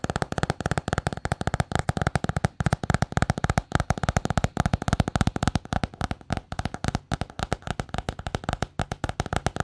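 Long painted nails tap rapidly on a small, solid notebook with a patterned paper cover and scratch across it. The result is a fast, uneven stream of dry, dull clicks with a low, thumpy body and almost no ring.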